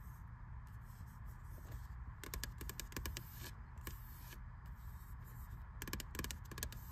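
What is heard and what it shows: A fingertip and long red-painted nails tap and scratch the glossy printed card cover of a medium-sized, closed spiral-bound paperback, The Wadsworth Guide to Research, which has white plastic coil binding and lies flat on a grey metal shelf. Soft, quiet scratching is broken by clusters of short, bright ticking taps, all over a steady low background rumble.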